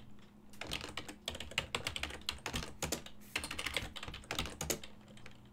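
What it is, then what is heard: Plastic computer keyboard. Fingertips type steadily on a full-size silver-and-black plastic desktop keyboard with hollow key switches, producing a continuous run of quick, bright, hollow clacks that stop short with almost no ring. The taps come in uneven bursts, with a faint steady low hum beneath them.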